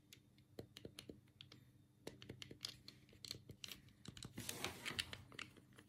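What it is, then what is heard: Plastic game controller. A black hollow plastic Sega Mega Drive control pad is handled close-up as fingertips press and click its D-pad and buttons. The result is a quick, irregular run of sharp, bright plastic clicks with almost no ring. A denser patch of scratchy rustle rises briefly near the end.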